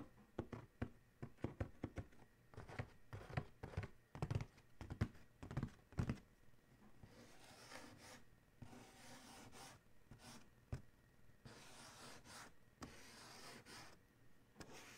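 Fingertips and short nails tap rapidly on the closed lid of a large, hollow, black cardboard Adidas shoe box lying on a towel, making quick, dull, low thuds. After about seven seconds, the sound shifts to longer, bright, hissing bursts of scratching across the lid top, broken by a few more taps.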